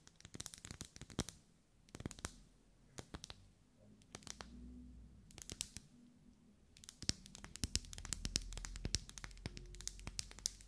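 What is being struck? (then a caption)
Wax pillar candle. A lit pink ribbed pillar candle of solid wax, held in the hands, is tapped with long nails. Quick bursts of sharp, dry clicking taps come in clusters separated by short pauses, over a faint low hum.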